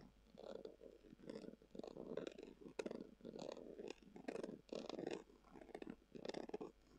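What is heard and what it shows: A long acrylic nail scratches across a brown, textured, leather-covered tubular glasses case that is hollow. Quiet, dry scratching comes in short repeated bursts, with a soft, muffled midrange body and faint bright edges, separated by brief pauses.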